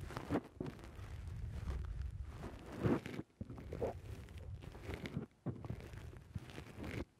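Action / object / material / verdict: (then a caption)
scrape / foam microphone windscreen / foam / none. Fingertips press and pinch the soft black foam windscreen on a microphone. The result is close, muffled squishing and rustling, mostly low and dull, that runs almost continuously with brief silent gaps near 3.3 and 5.3 seconds.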